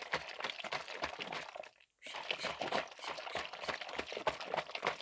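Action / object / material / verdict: tap / plastic trigger spray bottle with liquid inside / plastic / none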